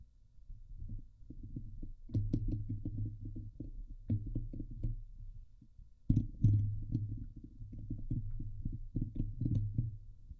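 Long painted fingernails of both hands scratch across the hollow steel mesh dome grille of a Blue Yeti microphone. The result is a dense run of rapid, uneven scratching strokes, mostly deep and thumping around 105 Hz. Occasional faint high ticks and louder bursts mark the moments where the stroke intensity picks up.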